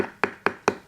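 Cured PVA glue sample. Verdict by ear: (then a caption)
Hard. Three short, sharp taps on a cured sample of PVA D3 glue give a bright, hard click with almost no ring. The sample sounds hard rather than dead, in contrast to a softer cured glue.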